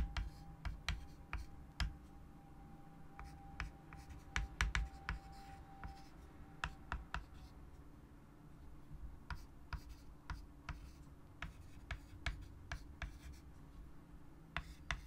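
White chalk held in the fingers writes words on a large wood-framed chalkboard resting on a table, making soft scratching strokes broken by sharp, bright taps as the chalk meets the board. A faint steady tone sits under the first six seconds, over a low, even rumble.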